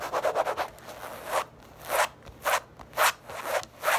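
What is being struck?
Small leather zip pouch.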